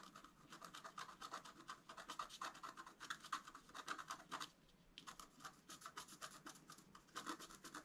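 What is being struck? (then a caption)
Black-coated scratch paper card and wooden stylus. A wooden stylus scratches lines into a flat black-coated scratch art card resting on a table while a hand holds the sheet steady, etching the flower above a deer head. Rapid, dry scratching strokes with a bright, raspy texture repeat in quick bursts, pausing briefly around the midpoint before resuming.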